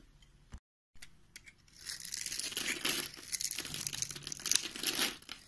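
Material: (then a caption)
Soap. A utility knife blade scrapes across the finely scored grid surface of an oval, solid pink soap bar held in the hand, throwing off small pink cubes. After a soft tap and a brief silence, a dense, bright, crisp scraping and crunching builds and continues with uneven bursts. The sound sits almost entirely in the high range.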